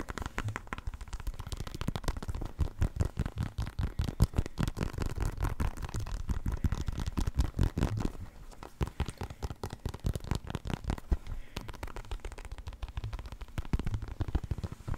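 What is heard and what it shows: A full-size black and white synthetic leather soccer ball, hollow and inflated, is held in one hand and tapped with the fingertips and nails of the other. The result is a rapid, continuous stream of soft, deep, hollow thuds, each dying away almost instantly, with faint light scratchy clicks on top.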